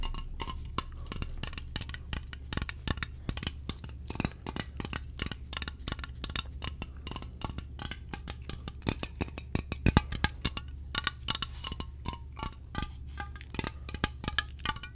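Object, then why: Aluminium aerosol can. A slim, hollow aluminium aerosol air freshener can with a pineapple label is held in front of the microphone and tapped and scratched along its body with fingertips and nails. Dense, rapid, dry taps and bright metallic clicks with scratchy rustles die away almost instantly. A steady low hum runs underneath throughout.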